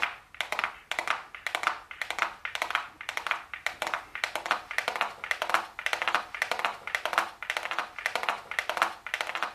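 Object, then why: Small cardboard makeup box. A small, flat, hollow gold cardboard makeup box labeled "golden" is held closed and upright in both hands and tapped with super long blue acrylic nails. Quick, bright, papery clicks come in rapid bursts and die away almost instantly, repeating steadily throughout.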